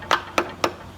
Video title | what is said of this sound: 2009 - 2014 Acura TSX driveshaft and seal replacement - DIY | a solid sound like that, you know that the axle is bottom out and it's seated properly